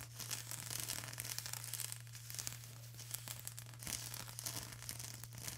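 Long acrylic nails on both hands scratch and tap a flat sheet of plastic bubble wrap, producing dense, bright crinkling and scraping with quick tapping clicks throughout. A steady low hum sits underneath the whole clip.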